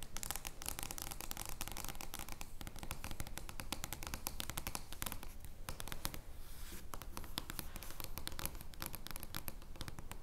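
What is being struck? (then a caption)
Oversized card-stock playing card. Long nails scratch an oversized paper joker playing card made of thin card stock, lying flat on a wooden table. The result is a dense, steady stream of crisp, bright scratching and rapid clicking over a low rumble, with brief softer lulls before the scratching picks up again.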